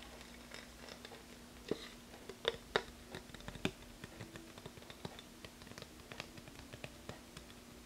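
An empty, hollow, transparent plastic phone case dotted with small rhinestones is held in both hands and tapped and scratched with long red-painted fingernails. Quiet, sharp clicks and light scratchy patter come in an irregular stream, a few louder taps standing out. A faint steady low hum sits underneath.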